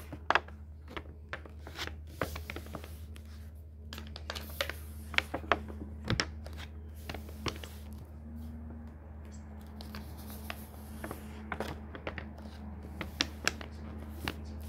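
A flat palm and fingertips rub and smooth a printed photo page in a thick hardcover book lying open. Soft papery swishes and dry scratches alternate with many short, bright crinkling ticks. A steady low hum runs underneath throughout.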